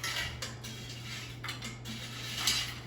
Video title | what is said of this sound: Arby's Frozen Curly Fries In Air Fryer - So Crispy! Restaurant taste without leaving your house! 🍟 | Hear how crispy? So nice and crunchy